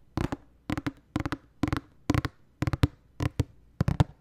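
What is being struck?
Cardboard tissue box.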